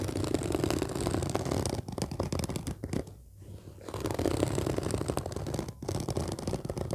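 Long nails of both hands scratch and tap the fabric surface of a large, flat, orange padded case with a zipper. The result is a dense, steady rustling scratch with quick soft taps, weighted toward the low end. It eases into a brief quieter lull near the middle before resuming.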